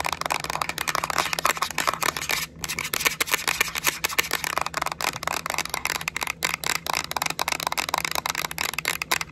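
Long acrylic nails rapidly tap and scratch the back shell of a yellow Nintendo Switch Lite, a small hollow hard-plastic handheld game console held in the hands. The result is a dense stream of sharp, bright plastic clicks with very short decay, layered over a continuous scratchy rasp, with a faint low hum underneath.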